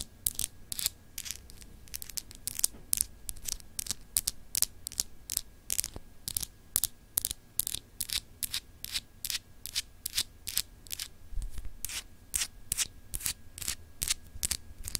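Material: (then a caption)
Glass. Long acrylic nails scratch and rub across a small, solid, clear glass globe paperweight with an etched, textured surface. The result is a fast, uneven series of short, bright, crisp scrapes with almost no ring, over a faint steady tone and a low background rumble.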